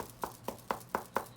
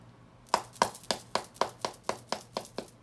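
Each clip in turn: First: lightly padded hockey glove. Second: heavily padded hockey glove.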